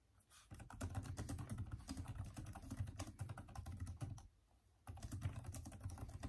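Both hands type densely with their fingertips on the backlit plastic keys of a Microsoft Surface keyboard. The result is a rapid run of soft, thuddy clicks with a low body, broken by a brief pause near the end before the typing resumes.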